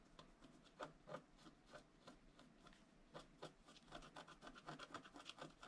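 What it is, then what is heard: Scratch art card being scratched. A wooden stylus scratches repeated short strokes into the coating of a flat scratch art sheet, a black-coated paper board, while the other hand steadies the sheet. The result is a quiet, dry rasping with brief bright scrapes in an uneven rhythm.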